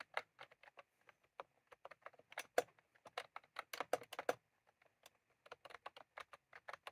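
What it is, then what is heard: Plastic mechanical keyboard. Both hands type continuously with the fingertips on a full-size white and cream plastic mechanical keyboard with round, typewriter-style plastic keycaps, with a small clip microphone resting on it untouched. Rapid, irregular key taps come in quick bursts with brief pauses, each a short, dry click centered in the low-mid range with a bright top and almost no ring.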